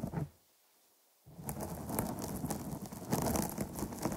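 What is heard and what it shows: Long polished nails of both hands scratch across the top and sides of a soft, porous, medium-sized dark grey foam microphone cover. A short scratch is followed by almost a second of near silence, then dense, continuous scratching and rustling. The sound is heavy in low rumble, with bright crackling bursts.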